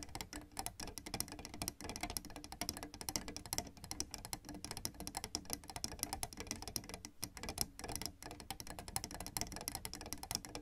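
Long red nails tap rapidly on the white and black plastic keys of a piano keyboard, up close. The result is a dense run of short, dry, bright clicks, each dying away almost at once. It sits over a low, steady background.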